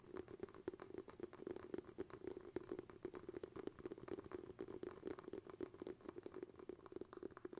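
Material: Bamboo.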